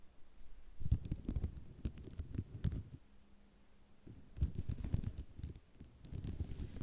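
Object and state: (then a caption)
Ceramic mosaic tiles tapped with nails. Long nails tap quickly across a white ceramic mosaic tile sheet, producing clustered bursts of short, dull clicks and rattles. The tapping pauses briefly in the middle, where a faint low hum is heard, then resumes in another flurry of close taps.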